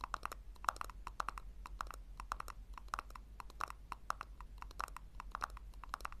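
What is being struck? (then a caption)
Small plastic tub. Long nails tap and scratch the base and sides of a small, hollow pink plastic tub turned upside down. The result is a quick, irregular run of dry, hollow clicks with a slight ringing tone, each dying away instantly, over a steady low hum.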